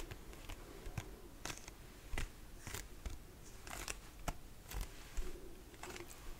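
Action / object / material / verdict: tap / plastic lotion pump bottle / plastic / none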